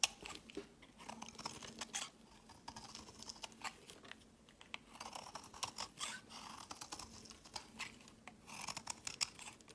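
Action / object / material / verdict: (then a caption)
scrape / bar of soap scraped with a knife blade / soap / none. A solid white rectangular bar of soap held in the fingers as a utility knife blade scrapes thin powdery flakes off one face and its edge. Many quick, dry, bright scraping and crunching strokes run through the clip, with faint, steady low hum between them.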